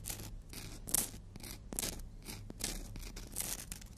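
A long, thin, flat black-and-white emery board nail file with an abrasive surface is held in one hand while the natural fingernails of the other hand are drawn across it. Repeated bright, hissy scratching strokes rasp in quick, uneven bursts over a steady low hum.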